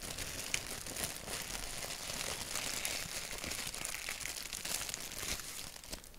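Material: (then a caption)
Paper. Fingertips rub and crinkle a thin white paper napkin with a black doodle print. The result is a steady, dense, bright crinkling and rustling, with small sharp crackles popping out of the texture and very little low end.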